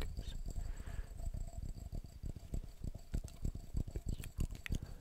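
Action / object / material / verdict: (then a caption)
tap / glass jar / glass / none. Fast tapping on a glass jar produces a quick, uneven run of short, dull knocks, roughly three to four per second. The taps sound muffled and low, each dying away almost at once, with a few faint bright clicks near the end.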